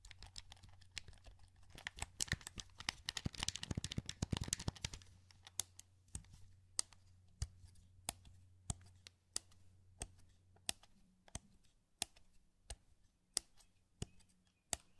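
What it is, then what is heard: Plastic game controller. A translucent green, hollow plastic PS2 wireless controller is held in both hands while the thumbs click its buttons and sticks. A dense flurry of rapid, crisp plastic clicks fills the first five seconds, then gives way to single sharp, bright clicks spaced evenly about two-thirds of a second apart. A faint low hum runs underneath throughout.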